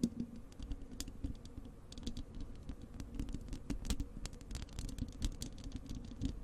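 Long acrylic nails on both hands scratch and tap rapidly across the bare, hollow wire-mesh metal grille of a large desktop microphone. The result is a dense, continuous patter of short, crisp clicks with bright edges over a heavy, boomy low-end rumble and a faint steady tone around 230 Hz.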